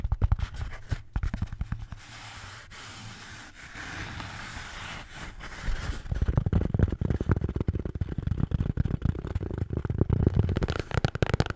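A red Bintang beer can holder is tapped and scratched. Quick, dull, low taps open the clip, then a softer, steadier scratching hiss takes over for a few seconds. Dense, rapid tapping and scraping then return, thumpy and low-heavy, to the end.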